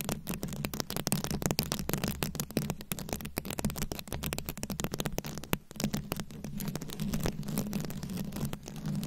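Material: Rhinestones.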